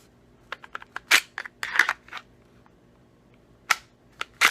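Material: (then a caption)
Plastic. An unloaded Glock 19 with a full magazine and an empty chamber is pushed into a new Harry's Holsters Insider inside-waistband holster. About eleven short, sharp, bright clicks and snaps are heard as it seats, and the audible snap shows the holster has a positive retention lock.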